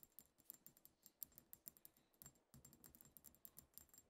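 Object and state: Glass perfume bottle.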